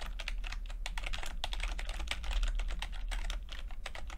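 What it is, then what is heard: Plastic computer keyboard being typed on. Fingertips of both hands type continuously on a full-size plastic computer keyboard with red and blue backlit keys and low-profile keycaps. The result is a steady stream of quick, bright clicking taps over a constant low hum.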